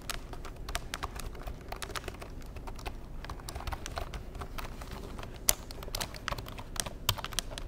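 Fingertips tap the keys of a black plastic Insignia computer keyboard in a steady, quick run of typing. Each tap gives a short, dry plastic click with a bright edge and no ring, over a soft low rumble, with a few sharper, louder clicks standing out near the end.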